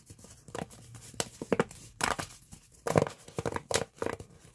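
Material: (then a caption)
Plastic. A hollow pink corrugated plastic pop tube, bent into a loop, is squeezed by both hands and fingertips, making its ridges pop. A series of sharp, crinkly snaps and brief tearing-like bursts is heard against a quiet background, each dying away almost instantly.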